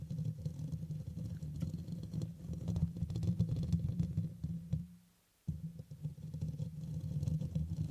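Fingertips and nails scratch and rub the hollow black metal mesh grille of a red microphone, then the hands cup around it, producing a dense, muffled low rumble with a steady hum and rapid irregular scratchy patter. Around five seconds the sound fades almost to silence, then the rubbing abruptly resumes at full strength.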